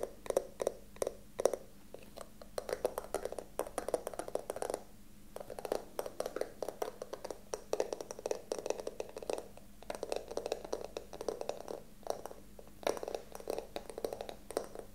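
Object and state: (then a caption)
Carved wooden box. A small hollow wooden box with a carved ornamental lid is held in the hands and tapped rapidly with fingertips and nails. The result is quick, dry, mid-pitched knocks in dense bursts with brief pauses, over a faint steady hum.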